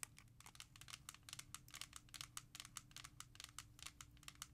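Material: Hard plastic.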